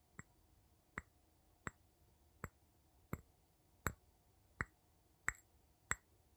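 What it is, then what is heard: Glass jar. The tip of a wooden pestle-like tool taps near the bottom of an empty clear glass jar with a gold metal lid, held on its side in one hand. Nine short, quiet taps come at a slightly uneven pace, each a sharp click with a bright glassy ping that dies away almost at once.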